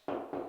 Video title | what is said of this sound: How to Remove Old Wallpaper | if it sounds Hollow you have drywall